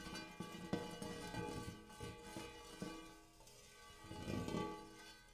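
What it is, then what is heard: Large hammered metal bowl. Fingernails tap and scratch the dimpled inside of a large, empty, hammered brass-colored metal bowl. Sharp metallic taps set off a shimmering ring of layered tones over a low hum, with a softer scratchy rasp swelling between the strikes.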